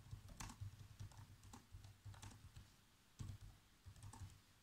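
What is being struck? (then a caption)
Plastic laptop keyboard keys. Fingertips press the black plastic keys of a laptop keyboard in a steady run of typing taps. Each keystroke gives a soft, low thud with a brief bright click on top, dying away almost at once.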